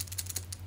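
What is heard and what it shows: A Pentel Super Multi 8 multi-function lead holder is shaken, and the spare leads stored loose in a space inside the barrel slide around, producing quick, bright shaka-shaka rattles over a steady low hum. The rattling is judged bothersome and makes the pen feel a bit cheap.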